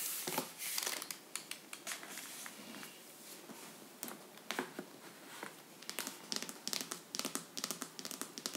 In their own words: ASMR tapping and scratching vinyl box set with raised texture